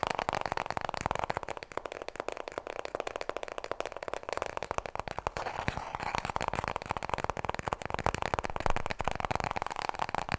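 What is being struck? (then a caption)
Paper toilet roll. A small, full roll of white toilet paper is held horizontally in both hands and tapped rapidly with long nails. The result is a dense, continuous stream of soft, papery clicks and light scratchy taps, mostly in the low-mid range, that keeps going throughout.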